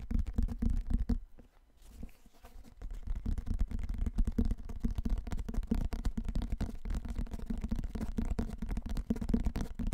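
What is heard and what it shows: A large, dark, solid hardcover book with cardboard covers is held in both hands while fingertips and nails tap and scratch its cover. The result is a dense stream of quick, dull, low-pitched taps mixed with soft scratching, easing briefly quieter near the start before resuming steadily.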